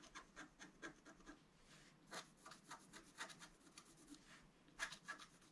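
A wooden stylus scratches near the lower right of a flat, black-coated scratch art card, about A4 size, lying on a table. It makes a quiet series of short, dry, bright scraping strokes with almost no low end. The strokes come in uneven bursts, with a few louder scrapes toward the end.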